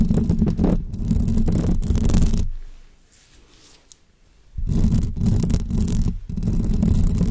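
Long fake press-on nails scratch and tap the hollow metal mesh grille of a bare pink condenser microphone, then move onto its painted body. The result is a dense, bass-heavy rumbling scrape with fast uneven strokes. It fades to near silence in the middle before the loud scratching returns.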